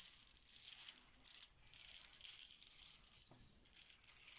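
A heap of small, solid, cream plastic Bananagrams letter tiles on a marble countertop is swirled and swept with the fingertips and hands. The tiles make a bright, high rattling clatter against each other and the stone, with brief quieter lulls between the sweeps.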